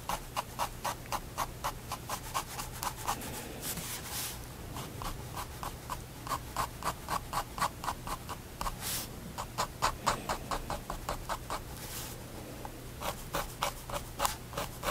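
A pigment liner pen draws fur strokes on the page of a white spiral paper sketchbook resting on a wooden desk. The nib makes quick, short scratches against the paper at about four per second, broken by brief softer rubbing passages. A faint steady low hum runs underneath.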